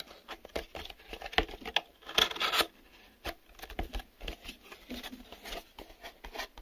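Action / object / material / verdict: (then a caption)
tap / small printed cardboard box / cardboard / none. Fingertips and nails tap on the sides and folded-in inner flaps of a small, empty, printed cardboard retail box that is hollow and open at one end. The result is a quick, uneven run of light, dry taps and soft papery scratches that decay almost instantly. A brighter, denser flurry of scratchy contact sounds comes near the middle.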